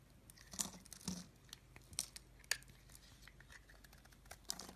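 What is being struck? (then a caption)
Bar of solid soap scraped with a knife blade. A pink oval bar of solid soap, held in the hand, is scraped and shaved with a utility knife blade. The blade makes dry, bright, crackling scrapes with a few sharper crisp peaks over a quiet background.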